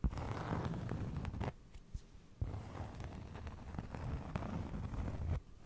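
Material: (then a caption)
Cork. A round cork trivet held close to the microphone is scratched and tapped with fingernails. It makes a steady, dull, low rustling scrape with soft taps mixed in. Two brief quiet gaps break the sound, near the middle and just before the end.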